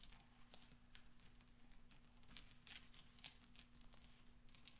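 Small solid steel pachinko balls resting on black velvet are pressed and clinked together with fingertips and nails. The result is a quiet stream of soft, bright metallic clicks and ticks, each dying away quickly over a low, steady hum.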